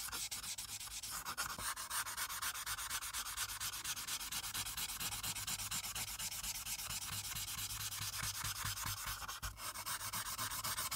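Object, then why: Felt-tip marker on paper over a clipboard. A plastic alcohol marker with a broad felt tip, held in a hand with long red nails, rubs and scratches back and forth across a thin sheet of white printed paper resting flat on a dark clipboard, filling in a blue background. A steady, bright, hissy scratching continues throughout in quick, loosely regular strokes, with a brief dip near the end.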